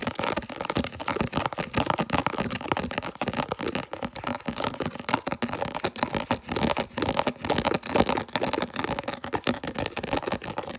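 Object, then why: Thin plastic food container lid. Long nails quickly scratch and tap a thin, hollow, translucent red round plastic food storage lid with ridged rings, held close to the camera. The result is a fast, dense stream of dry, crackly scratches and short clicky taps with a hollow plastic tone and bright rasp, each hit dying out almost instantly.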